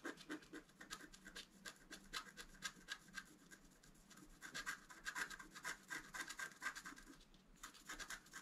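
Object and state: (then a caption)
Scratch art card being scratched. A wooden stylus scratches across a flat black-coated scratch art paper card, etching out the shape of an antler. Short, dry, bright scratching strokes repeat unevenly at about two per second, each with a raspy hiss that fades almost at once, with brief pauses between bursts.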